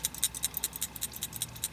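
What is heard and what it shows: An MSR Simmerlite metal liquid-fuel camping stove is shaken, making the loose shaker jet inside rattle in a quick series of about sixteen bright, high-pitched metallic clicks that stop almost at once. The rattle is the normal, expected sound of this part, which clears small obstructions in the jet when the stove is shaken.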